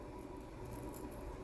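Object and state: Nothing is struck.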